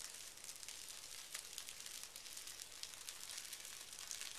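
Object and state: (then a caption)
Tissue paper sheet. A hand rubs and scratches a large, flat sheet of thin pink tissue paper lying on carpet, using fingertips and short nails. A steady, soft, bright crinkling hiss continues throughout, with many small crackling scratches rising above it.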